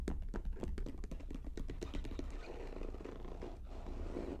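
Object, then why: Faux leather vanity case. Long painted nails tap rapidly on the lid and front of a medium, hollow, polka-dot faux leather vanity case with a metal handle. Quick, dry clicks with a low hollow thump run close together, then blur into a steadier scratchy rustle toward the end.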